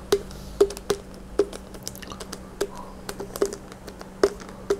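Fingertips and nails tap and squeeze the sides of a hollow plastic Gatorade bottle with an orange cap, partly full of red liquid and held in both hands. The result is rapid, irregular clicky taps, each a short hollow knock with a slight mid pitch that dies away almost at once. A faint steady hum runs underneath.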